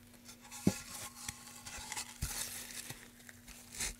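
A gloved hand rubs sandpaper over a solid light-wood carved pine tray with grooves, the tray first propped on its end and then laid flat. Dry, papery scratching and bright rasping strokes are broken by a couple of short, dull knocks as the wood shifts, over a faint steady low hum.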